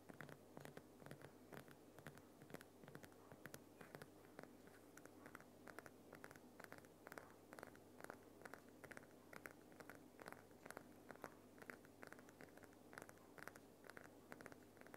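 Fingernails of both hands scratch and tap the rough front face of a large, solid, lit Himalayan rock salt lamp. The result is a quiet, steady run of short, dry clicks and scratchy taps with almost no ring, over a faint, constant low hum.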